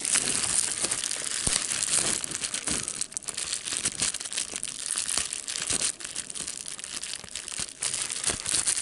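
A clear plastic bubble wrap sheet with air bubbles is held in the hands while fingertips pinch and pop the bubbles. A steady bright crinkling runs throughout, punctuated by many short, sharp pops with almost no low end.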